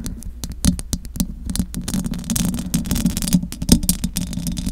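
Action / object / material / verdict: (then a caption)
scrape / metal mesh microphone grille / metal mesh / none. Long acrylic nails scratch the metal mesh grille of a large silver condenser microphone. Quick scratchy clicks and rasping scrapes come in dense, uneven bursts, with bright, crackly tops over a steady low, buzzing rumble. Each stroke dies away almost at once.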